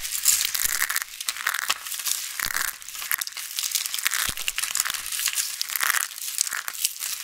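A hand-sized purple rose of thin, rolled dried soap strips, solid and brittle, is squeezed and crushed between the fingertips and palms of both hands. It gives a dense, bright crackling and crinkling with sharp snaps layered throughout, almost no low end, as the rose breaks into crisp flakes.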